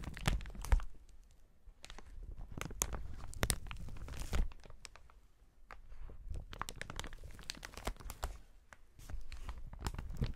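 A clear, inflated strip of plastic air-cushion packaging with hollow air cells is squeezed and crumpled by gloved hands. It makes dense crinkling and crunching, with soft low thumps and sharp bursts of bright crackle. The sound swells and eases in waves, with brief quieter stretches between handlings.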